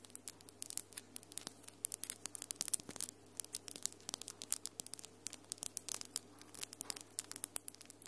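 Long almond-shaped acrylic nails with glitter polish, solid, tap and scratch against each other in quick, irregular bursts. The sound is a rapid stream of sharp, bright clicks with brief scratchy rasps. It stays quiet, sitting over a faint steady low hum.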